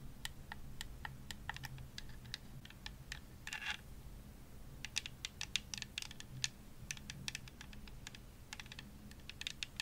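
Long nails tap a hollow purple plastic Xbox controller as it is turned to show its top and triggers, making a rapid run of short, bright, clicky taps. A brief scratchy rub comes near the middle, and the tapping grows denser toward the end over a faint low background hum.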